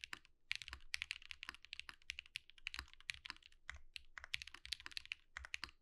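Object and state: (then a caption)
Mechanical keyboard with plastic keycaps. Fingertips of both hands type rapidly on a Think6.5 V2 compact mechanical keyboard with white plastic keycaps and an underglow-lit case resting on a desk mat. A fast, uneven stream of crisp, bright clacks comes through, with short dry attacks and faint low thumps beneath.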